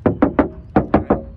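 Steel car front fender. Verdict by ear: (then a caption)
Solid. Knocking on the passenger-side front fender of a used 2013 Ford Fiesta with a 1.6 engine and automatic gearbox gives six short, dull knocks in two groups of three. Each knock dies away quickly. The steel panel sounds very solid, unlike the thin body of cars such as a Kia Cerato.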